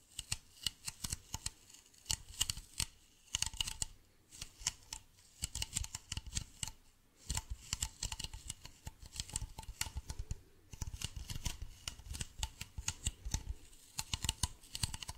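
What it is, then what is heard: Plastic bottle. A hollow, medium white plastic bottle with a blue cap is held up in both hands and tapped and scratched with fingernails. Quick bursts of crisp, clicky taps and scratchy rasps carry a bright edge over a soft hollow thump, with brief pauses between flurries.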